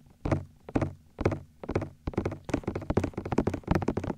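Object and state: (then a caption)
Silicone microphone ears tapped with fingertips. Fingertips grip and tap the white, hollow silicone ears of a binaural microphone. The taps are dull, muffled thumps, heavy in the low end with a short tail. They start spaced apart, then come faster and closer together toward the end.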